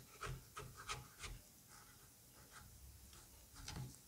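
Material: Squash flesh.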